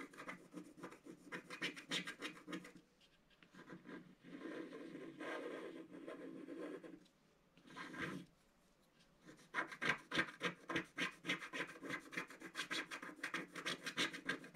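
A wooden stylus scratches the lower centre petal of a design on a flat scratch-art card with a black coating. Quick, rhythmic bright rasping strokes come in bursts, broken by short quiet pauses and a few softer, smoother rubs in the middle. The scratching grows denser and louder toward the end.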